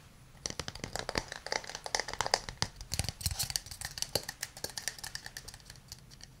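A hand-sized hollow wooden cup, held in both hands, is tapped and scratched with fingernails. It makes a rapid, irregular run of dozens of quick, dry, bright clicks with very little ring, mixed with light scratchy rustling. The taps swell in the middle and taper off toward the end.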